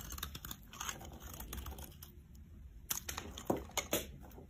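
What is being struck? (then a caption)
Bar of soap shaved with a metal blade. A metal blade scrapes and shaves crumbly flakes off a solid oval yellow soap bar held in the hand. A steady dry, crackling scrape runs throughout, with several sharper, brighter crunches standing out near the end.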